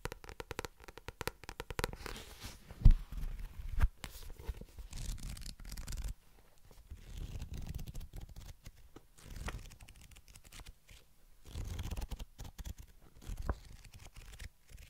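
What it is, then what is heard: Paperback book cover. Long nails tap and scratch the glossy card back cover of a paperback novel. Soft, close taps and dry scratching strokes come in uneven bursts, mostly low and muffled, with two sharper, louder taps early on. The sound stays quiet throughout, with brief pauses between the clusters.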